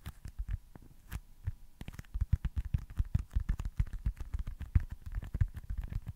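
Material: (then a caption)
Foam. A small, solid white foam stress ball shaped like a baseball is tapped with the fingertips. It gives a rapid, uneven series of soft, dull, low thumps that die out instantly with no ring. The tapping starts sparse and becomes denser and louder after about two seconds.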